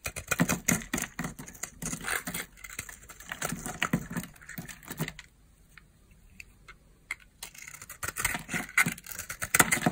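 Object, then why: Bar of soap cut with a knife. A utility knife blade cuts and scrapes crunchy flakes from the cut face of a hand-sized, hand-held bar of dry soap, black and glittery outside and purple inside. The sound is a dense run of sharp, bright crackling clicks with little low end. It goes nearly quiet for about two seconds midway, with only a few faint ticks, then the crunching resumes.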